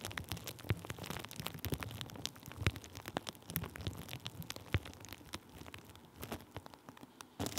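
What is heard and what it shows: Thin clear plastic bubble wrap draped over the top of a microphone is pressed and rubbed with the end of a wooden stick. It makes a dense run of soft crinkles and sharp little pops over a low rumble, with a louder burst of crackling at the very end.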